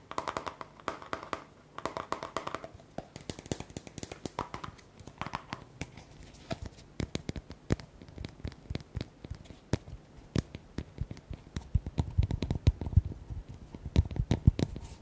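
A small round white plastic cosmetic tub with a lid, a barcode label and a yellow label is held in both hands and tapped quickly with fingertips and short nails on its lid and sides. The result is a fast, steady stream of short, dry, hollow taps with almost no ring, mostly low in tone. A few softer, rougher bursts come in the first few seconds.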